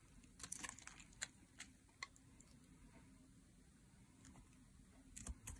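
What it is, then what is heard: Dry soap bar being shaved. A metal blade shaves curls off the face of a solid green dry soap bar held in hands with long gold and black nails. Crisp, bright scraping ticks come in short bursts, some sharper strokes standing out, over a faint low rumble. Each stroke is dry and brief, with almost no ring.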